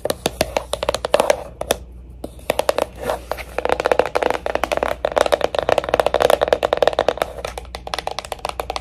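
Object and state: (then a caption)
Jewelry box. A jewelry box is tapped with quick, light taps for ASMR, giving dense bursts of short, dry clicks with a hollow tone around 500 Hz. The tapping pauses briefly near the two-second mark, then resumes in steady, uneven flurries with almost no ring after each tap.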